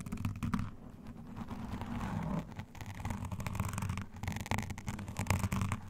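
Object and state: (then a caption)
Foam microphone windscreen being scratched. Both hands scratch and rub a black foam windscreen on a condenser microphone using long nails and metal claw rings. The result is a close, dense, muffled scratching and rustling dominated by low rumble, with brief brighter scraping bursts throughout.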